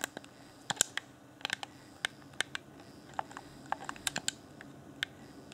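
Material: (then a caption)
Plastic. A fingertip taps and clicks the buttons of a hand-sized, hollow, transparent plastic Afterglow Xbox One game controller with its yellow LED lit. Sixteen short, dry, bright plastic clicks sound at uneven intervals over a faint steady hiss, each stopping instantly with no ring.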